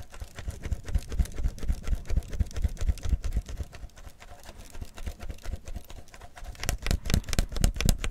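Fingers and nails quickly tap and scratch the gold label and clear plastic body of a full PET tea bottle while it is held. The result is a fast, uneven patter of short, dry, low thuds layered with faint bright scratchy ticks. It eases off slightly in the middle and grows busier and louder toward the end.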